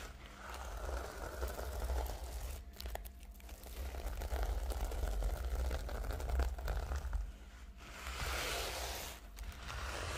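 Long nails scratch across and flip the reversible pink and blue plastic sequins on the cover of a flat rectangular notebook resting on a pink tablecloth. The result is a continuous, dense scratchy crinkling and rustling over a low rumble, with brief dips in level around 3 and 8 seconds.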